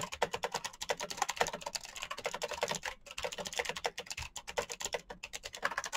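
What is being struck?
Plastic mechanical keyboard.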